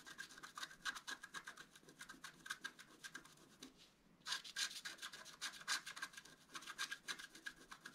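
A wooden stylus scratches repeated short strokes into the black coating of a flat scratch art card made of black coated paper. The bright, dry scratching comes in quick, uneven rasps, with a brief pause just before the halfway point before the strokes resume.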